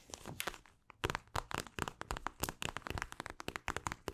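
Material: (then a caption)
Plastic. Long acrylic nails scratch a mint-green plastic eye mask filled with gel beads. A rapid series of short, dry crinkling scratches comes through, with crisp crackles against soft bead rustle. Each stroke stops sharply with no ringing.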